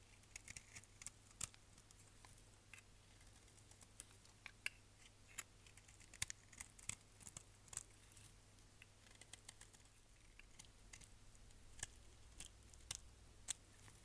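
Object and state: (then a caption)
Bar soap scraped with a knife. A solid orange striped bar of soap, held in the hand, is scraped with a utility knife blade, peeling off long yellow shavings. An irregular run of short, crisp, bright scraping clicks sounds over a quiet, steady low hum, with each click dying away almost instantly.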